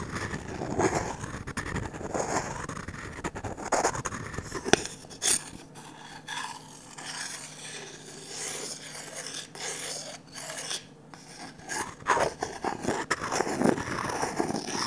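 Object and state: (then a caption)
Varnished wooden ladle being scraped. A wooden stick rubs and scrapes inside the empty bowl of a glossy orange varnished wooden ladle. The result is a slow, dry, rasping scrape with soft brushing strokes and bright hiss. Occasional sharper ticks punctuate the strokes.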